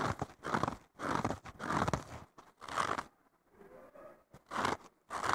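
A thick blue foam sponge block with a green abrasive scouring layer on the bottom, solid and porous, is scratched and poked across its top foam surface by fingertips and short nails. Bursts of dry, crunchy, rasping scratches come in uneven clusters with short pauses between them. A softer, quieter rubbing passage sits in the middle.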